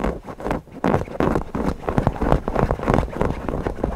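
Fingertips scratch and rub the fabric of a stuffed cotton owl cushion around its beak and body. The result is a steady, irregular stream of soft, muffled scratching strokes, weighted toward low tones and with very little bright texture.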